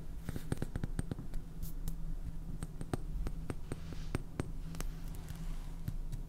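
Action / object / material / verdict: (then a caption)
tap / small clear plastic container of salt with a plastic lid / plastic / none. Long painted fingernails tap quickly on a small, hollow, cylindrical clear plastic container full of white salt with a purple plastic lid. The result is a rapid run of sharp, short clicks over a steady low hum.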